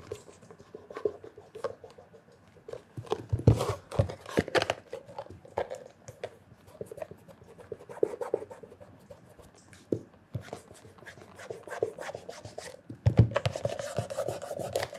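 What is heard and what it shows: Cloth-wrapped fingertips rub the toe and heel leather of a hollow black leather loafer with a leather sole. The result is a soft, uneven stream of dry scratching and squeaky rubbing strokes, with a few louder scuffs and a low, hollow body to the sound.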